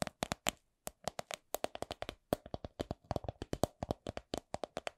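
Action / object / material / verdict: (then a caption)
tap / coin purse / unknown / none. A coin purse is tapped in a steady run of several dozen quick, dry taps, some in fast pairs, with brief pauses between groups. Each tap is a short, bright click with a faint pitched tone around 600 Hz and almost no ring.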